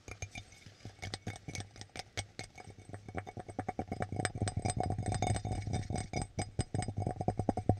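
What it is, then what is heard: Ceramic mug tapped. Fingertips and nails tap the base and sides of a red ceramic coffee mug with a white interior, held upside down, hollow and empty. Quick, irregular clicks and light clinks rise from sparse at first to a dense, busy patter over a steady low hum, with each tap dying away almost at once.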